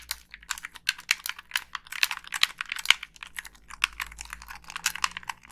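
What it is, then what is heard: Plastic game controller. Long pink nails rapidly tap and scratch the casing of a hollow black plastic Xbox 360 gamepad held up near the face and click its buttons. The result is a dense stream of dry, bright, clicky ticks with almost no low end, each dying away instantly.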